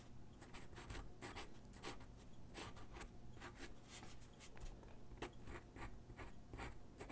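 A graphite pencil sketches across a single white sheet of drawing paper resting on a wooden desk, making quick scratching strokes. Short bright rasps come in a steady, uneven stream over a faint low rumble.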